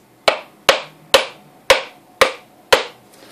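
A whole, hairy brown coconut with a hard hollow shell, held in a black-gloved hand over a cloth on a counter, is struck with the back of a large metal knife to open it. Six sharp, evenly paced knocks sound hollow and woody, each with a mid-pitched body and a bright tail that fades quickly.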